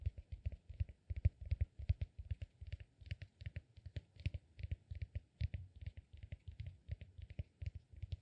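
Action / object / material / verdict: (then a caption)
tap / peanut-shaped cork massage ball / cork / none. Fingertips tap and scratch the surface of a hand-sized, solid, peanut-shaped cork massage ball held in the other hand. The result is a quick, steady run of dull, low, dry taps with soft scratchy clicks on top and almost no ring.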